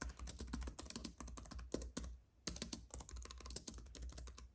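Fingertips type on a compact white keyboard with plastic keys on an aluminium base, resting on a fuzzy mat beside an idle paintbrush. A fast run of crisp, bright clicking keystrokes pauses briefly midway before resuming, over a steady low hum.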